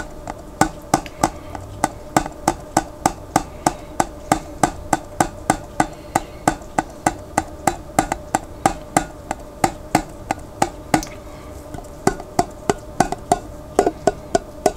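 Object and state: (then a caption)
Glass jar lid tapped. Fingertips tap the flat white printed lid of a large glass pickle jar partly filled with water, held sideways. About fifty short, sharp taps with a hollow, knocking tone around 720 Hz come at roughly three per second, each dying away almost at once, with a brief pause near the eleven-second mark.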